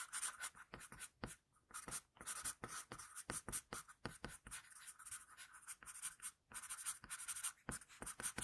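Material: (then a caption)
Paper. An HB wooden pencil held in the fingers shades a hand drawing on a flat sheet of drawing paper. Quick, rapid graphite strokes produce dry, bright scratching sounds in short bursts with brief pauses between them. The strokes stay quiet and close, with a hissy high edge and little low end.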